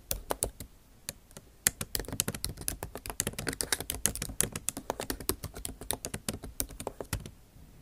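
A MacBook Pro backlit keyboard with bare plastic keys in an aluminum body is typed on with the tips of long acrylic nails. The result is a rapid stream of sharp, bright clicking taps with almost no ring. They start sparse, then run in quick irregular bursts before stopping near the end.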